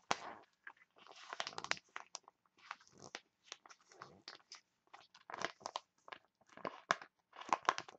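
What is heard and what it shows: A printed foil face mask sachet is crumpled and crinkled between both hands with long nails. Quiet bursts of crisp, crackling crinkles come in short clusters separated by brief pauses, with bright high edges over a midrange body and almost no low end.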